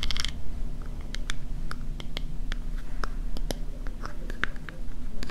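Long nails and fingertips tap and scratch the ridged lid of a small silver metal scallop shell compact mirror, a hollow closed case. Sharp, bright clicks and ticks with almost no ring land irregularly over a steady low rumble.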